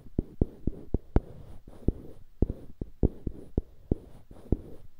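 Fingertips scratch the surface of two identical solid light-wood cubes mounted on dark-wood handles, held on both sides of a microphone. Sharp, dry taps with very short ring stand out from a soft, low scratching texture. There are about fourteen of them, spread unevenly across the clip.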